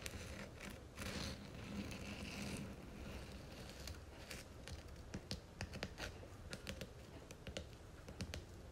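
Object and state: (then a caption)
Cloth-bound hardcover book spine. Long nails tap rapidly along the spine of a red cloth hardcover book held upright by hand, its gold-lettered spine facing up. A soft, scratchy rustle fills the first few seconds, then gives way to a quick run of crisp, dry, bright taps over a low background hum.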